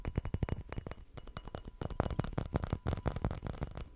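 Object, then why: Small glass perfume bottle with cap. Fingertips and nails tap and scratch the glass body and green cap of a small round dark glass perfume bottle with a ring emblem, held in both hands. Quick, irregular dull taps with very short decay mix with soft scratching, the sound sitting mostly in the low range.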